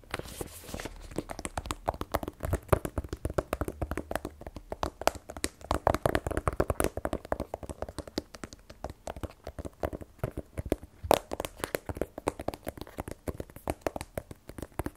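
Fingernails tap rapidly and continuously on a small black rigid cardboard iPhone 12 Pro box, held in one hand, hollow with the phone still inside. The taps are dry, short clicks with a hollow, mid-pitched knock and no ring, varying in strength throughout.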